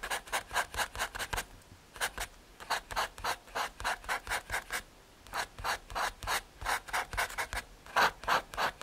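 A paper blending stump is rubbed over a graphite drawing on a small, flat, solid brown MDF/hardboard panel. About 34 quick, dry rasping strokes come in uneven bursts separated by short pauses, bright and scratchy with almost no low end.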